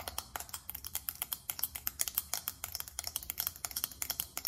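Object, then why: Small faceted glass perfume bottle tapped with long nails. Long acrylic nails tap fast on a small faceted glass perfume bottle, producing a rapid run of about 33 sharp, bright clicks. Each tap is high and thin with almost no low end and dies away almost instantly.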